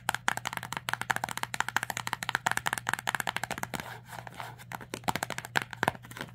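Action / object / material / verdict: tap / printed cardboard box / cardboard / none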